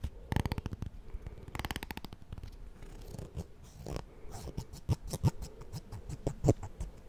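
A black plastic comb with a handle and fine teeth is held close to the microphone while fingernails scratch and flick along its teeth. Two quick, rattling runs of clicks come first, followed by scattered, sharper single flicks with a soft, low-heavy thump under each.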